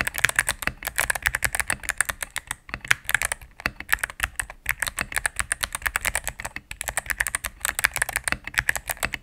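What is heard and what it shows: A cream full-size mechanical keyboard with plastic keycaps on a solid plastic case is typed on rapidly with fingertips and medium-length nails. The sound is a dense run of short, bright clacks with little low end and almost no ring, broken by a few brief pauses.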